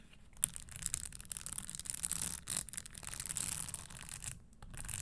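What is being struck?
Leather stiletto shoe with metal studs.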